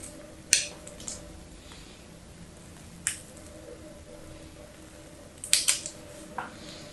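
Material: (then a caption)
Soap. A utility knife blade scrapes and shaves flakes off the scored surface of a small, solid blue bar of soap with white stripes, held in fingers with long yellow nails. About six short, bright, crisp scraping cuts ring out over a quiet background, each stopping almost instantly.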